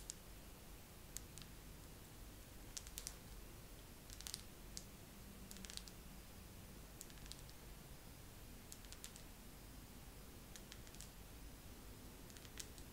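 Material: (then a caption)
Wax. Fingernails tap slowly on a wax pillar candle in a second round of tapping. Short, dry, bright clicks come at irregular intervals and die away almost at once, over a faint, steady low rumble.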